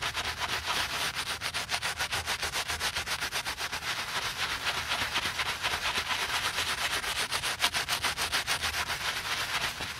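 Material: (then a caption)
Knit fabric. A wooden-handled bristle brush scrubs soapy foam into the perforated white knit textile upper of an Adidas Yeezy Boost 350 sneaker during cleaning. Rapid back-and-forth strokes, about four per second, make a steady, bright, hissy scratching with little low end and a light wet foamy texture throughout.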